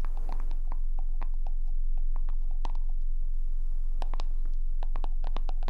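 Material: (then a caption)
Plastic. Long acrylic nails tap on a small black plastic skincare jar with a white label, its lid on, held in one hand above the face; the jar looks closed and is probably full. Quick, fairly steady hollow clicks with a mid-pitched knock ring out in irregular clusters over a constant low hum.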